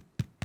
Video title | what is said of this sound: Crusty White Bread - Everyday Gourmet S10 Ep50 | But also, if you turn it around, give it a tap, and if it sounds hollow, you know that your bread is completely cooked through.